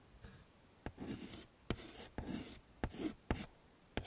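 Chalk is drawn across a wood-framed chalkboard, sketching petals and leaves. Short bursts of dry, scratchy strokes with a broad, bright hiss are heard. Seven sharp taps land as the chalk meets the board, each dying away almost at once.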